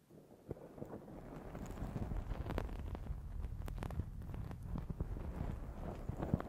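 Fingernails of both hands scratch the black foam windscreen on a Zoom H6 recorder, producing a dense, muffled rumbling scrape concentrated in the low end. Sharp little ticks and crackles poke through the steady low rustle, which grows louder after the first second and stays busy to the end.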